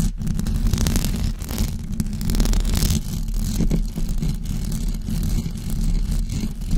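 Long blue acrylic nails scratch and tap a white knitted fabric cover stretched over a rounded microphone head. The result is a dense, continuous, muffled rumble of low scratching and soft thuds, with brief brighter rasps over the top.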